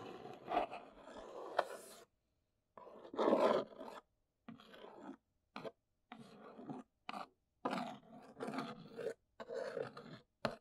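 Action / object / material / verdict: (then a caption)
scrape / large cardboard box / cardboard / none. Long nails scratch and trace across the top of a large, hollow brown Neewer cardboard box. Nine raspy, papery scraping bursts of varying length are heard, each separated by short silences, with a dry mid-range body and little low end.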